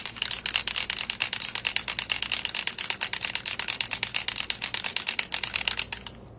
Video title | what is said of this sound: Foiling the Back Shoulder Panel of a Flannel with Willow Foil - Live Demo | when you shake this up, that ball should definitely be rattling. It's just a rattle can